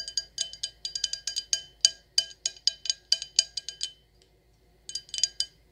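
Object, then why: Glass wine glass. An empty, clear stemless wine glass with gold decoration is held in the hands and tapped with long acrylic nails. About 25 quick, bright clinks come in a steady run for roughly four seconds, then a pause, then a final short burst. Each tap is high and glassy, with a very brief ring that dies away almost at once.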